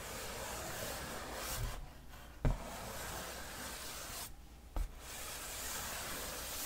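Fingertips and nails rub and scratch the glossy printed surface of a large cardboard board game box lid held close to the mic, making a steady, broadband rasping hiss. The rubbing drops out twice in brief pauses, and each time a soft tap lands just after.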